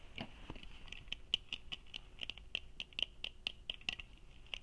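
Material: Plastic.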